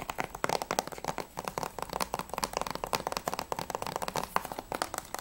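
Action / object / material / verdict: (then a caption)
tap / plastic game case / plastic / none. Long nails tap fast on the front cover and top edge of a closed, hollow grey plastic PS3 Platinum game case for Assassin's Creed II. About 33 quick, dry clicks sit around 1 kHz with a bright edge and almost no ring. They form a steady, rattling patter.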